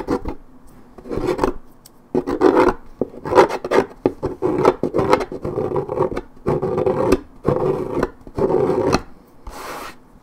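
Long nails scratch intensely along the worn white strip of a hollow, coated paperboard orange juice carton. Repeated rasping, papery bursts with a hollow midrange body come in short strokes separated by brief pauses, and the final stroke is softer and brighter.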